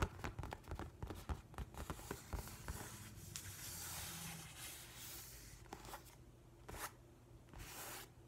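Spread fingertips and nails rub and scratch the paper surface of a large, flat hardcover book with a printed nautilus cover. A quick, uneven series of dry scratchy ticks gives way to a longer, steady papery rubbing hiss, ending with a few bright, brushing swishes.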